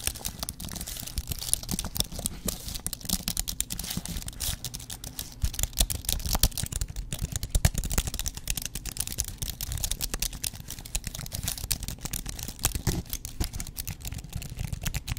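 Fingertips type on the plastic keys of a thin white aluminum keyboard held flat in both hands. A dense, steady run of soft, short clicks with a low thud under each and bright, crisp tops carries on throughout with no pauses.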